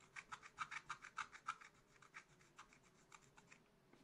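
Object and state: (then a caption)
Coated scratch-art paper. A wooden stylus scratches repeated strokes into a black-coated scratch-art card in a spiral book, making about sixteen quick, dry, bright rasping scrapes. The strokes come in a brisk, uneven rhythm, loudest in the first second and a half and then lighter and softer, over a faint steady low hum.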